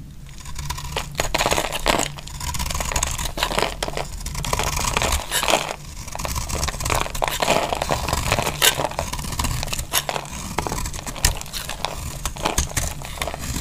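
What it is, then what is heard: Dry bar soap being scraped with a blade. A metal utility-knife blade shaves and scrapes curls off a solid, dry, oval orange "Bea" bar soap held in a hand with long glittery nails. A steady run of crisp, dry scraping and crackling fills the clip, punctuated by many short, sharp, bright ticks and cuts over a faint low rumble.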